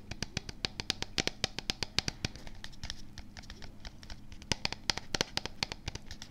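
Fingertips and nails rapidly tap and scratch the printed label of a medium, hollow plastic supplement tub held very close to the microphone, possibly brushing the mic foam. Sharp, bright clicks with almost no ring come in quick bursts over soft scratchy friction and a faint low steady hum.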